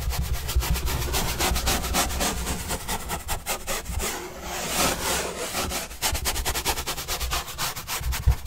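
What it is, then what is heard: Cardboard pizza box being brushed. A paintbrush sweeps back and forth across the surface of a large, flat, hollow white corrugated cardboard pizza box with green edges, held upright. Quick, steady strokes make a dry, scratchy hiss over a low, hollow rumble from the box. The strokes ease briefly near the middle before picking back up.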